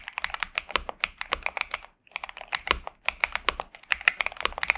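A pink and purple 65% Xinmeng M71 mechanical keyboard with TTC Superman switches and plastic keycaps, resting on a desk mat, is typed on continuously with the fingertips of both hands. Quick, bright, crisp keystrokes come in rapid runs with almost no low end, broken by a brief pause near the middle. The result is a pleasant, steady clacking.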